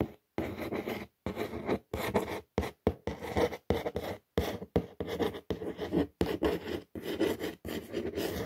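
Long fingernail tips trace and scratch across the printed words on the surface of a brown corrugated cardboard shoe box. The result is a series of short, dry rasping strokes separated by brief pauses, with a papery scratch concentrated in the low-mid range.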